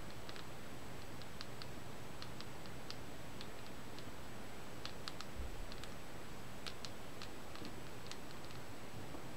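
Long nails tap and lightly scratch the glossy paper cover and edges of a solid Negima! volume 5 paperback manga held in both hands. Faint, bright, scattered ticks and clicks sit over a steady low rumble and a thin high tone throughout.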